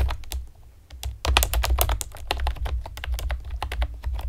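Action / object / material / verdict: tap / plastic computer keyboard / plastic / none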